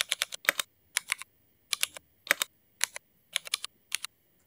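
Fast fingertip typing with both hands on a Cherry MX mechanical keyboard with black ABS plastic keycaps. Quick bursts of bright, sharp clacks with no low-end thud and almost no ring are separated by short silent pauses.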